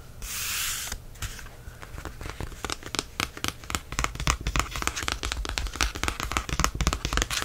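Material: Card.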